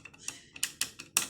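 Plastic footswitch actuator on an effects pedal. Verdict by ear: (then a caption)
Loose. The loose right-hand footswitch actuator on a Zoom multi-effects pedal is moved by hand, giving a quick run of seven bright, dry clicks and rattles with very little low end. The actuator has come loose and lost its fixing, so any small knock on the floor nearby triggers the button.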